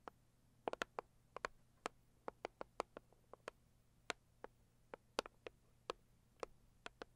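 A cardboard Saviland product box is tapped and scratched with long nails, giving about 23 sharp, dry clicks spread unevenly over seven seconds. The clicks center around 480 Hz, reach into bright highs, and die away almost instantly. Between them sits a quiet, steady low hum.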